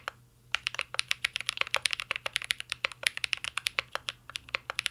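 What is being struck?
Mechanical keyboard with plastic keycaps.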